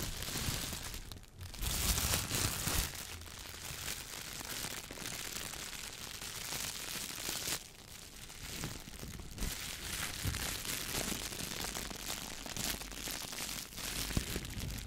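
A clear, thin plastic shower cap is balled up in one hand and squeezed and crinkled with the fingertips. It makes a steady, dense, bright crackling and crinkling for the whole clip, rising and easing in loudness, with a faint low rumble underneath.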